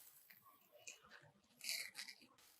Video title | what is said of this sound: Super Crispy Ribbon Pakoda Recipe at Home - Easy South Indian Snack - Ramaa Raavi | mic దగ్గర పెట్టిన కరకర అంటుంది శబ్దం వినిపిస్తుంది కదా